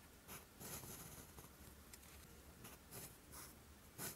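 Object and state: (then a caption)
Lined paper sheet being written on. A steel fountain pen nib, held in the fingers, is drawn across a flat sheet of lined writing paper on a desk, writing Korean letters in green ink. Soft, bright scratching strokes come in short bursts against a quiet low hum.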